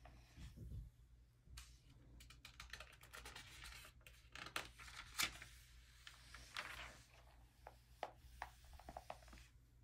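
A flat hand rubs the thin pages of an open early-2000s glossy paper magazine, then fingertips lift and flip them. Soft, bright papery rustling and sliding is broken by crisp, sharp flicks and snaps as the pages turn, over a faint low hum.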